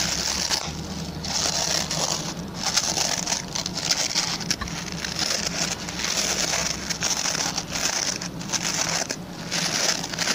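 Fingertips and short nails quickly scratch the plastic pin bristles of a hand-sized oval white plastic brush. The result is a dense, continuous crackling scratch, mostly bright and high-pitched, at a steady level with brief dips throughout.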